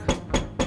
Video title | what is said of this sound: 콕스의 신제품 시미트리 케이스! 갖고싶니? 드루와~! ( COX A3 시미트리 강화유리 ) | 손으로 두드려 보면 이렇게 뾱뾱이 신발 신은 것 같이 짹짹 짹짹 요런 소리가 나요